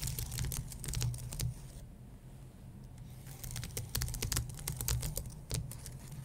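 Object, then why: Plastic keys on an aluminum keyboard. Fingertips and medium-length dark-painted nails scratch and tap across the plastic keys of a white, low-profile wireless keyboard with a solid, thin aluminum base. Quick clusters of bright, dry clicks and scratches ride over a steady low rumble. The clusters fall quiet for about a second and a half in the middle before the tapping picks back up.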